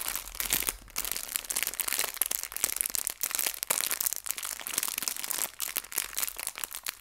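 A small clear plastic bag filled with hair ties is pressed and crinkled by both hands with long nails. The result is a dense, bright crinkling with sharp crackles and crunches that rise and fall in short bursts throughout, with almost no low end.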